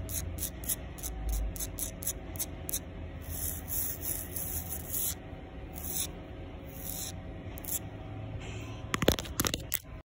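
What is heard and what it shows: Long pink nails scrape across the gritty surface of a solid concrete sidewalk, making quick, bright, hissing strokes at first and then longer rasping drags over a steady low hum. The clip ends with a few sharp, louder clicks.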